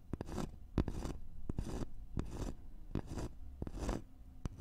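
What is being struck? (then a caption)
Thin notched wooden board. Fingernails of both hands quickly scratch a thin, flat, solid wooden notched trowel board. Short bursts of dry, rasping scratches alternate with sharp little clicks, with a low, dull body and no ring after each stroke.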